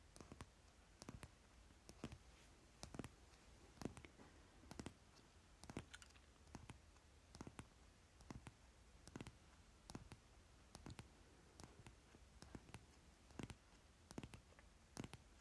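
Fingertips and short nails tap on the top card of a solid stack of Monopoly Deal cardboard playing cards lying on cloth. The taps are quiet, sharp, dry clicks that often come in quick pairs and clusters, with brief bright transients that die away almost instantly over a low, steady background hum.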